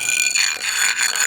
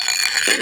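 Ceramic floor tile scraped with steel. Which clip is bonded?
The second.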